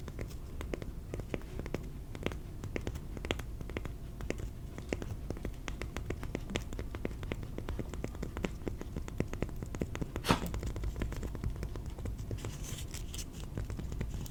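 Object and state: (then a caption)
Cork tapped. A piece of cork is tapped repeatedly in a quick, steady patter of soft, dull taps that die away almost at once. The sound is low and muffled, with one sharper, louder tap about ten seconds in.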